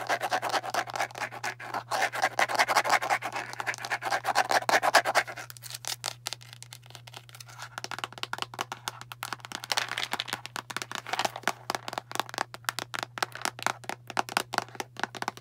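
Long nails rapidly tap and scratch the body and label of a translucent plastic Tums antacid bottle full of round tablets, producing dense, crisp clicks and scraping over a faint steady low hum. The tapping is loudest for the first five seconds, drops to softer, sparser taps for a few seconds, then picks up again in quick irregular bursts.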